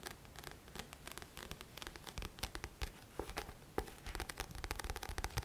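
Fingertips and nails scratch the glossy card front cover of a thick paperback book with a paper cover, held upright. A dense run of quick, dry scratching strokes with bright rasping texture follows, each stroke dying away almost instantly, with a few sharper clicks standing out over a soft low rumble.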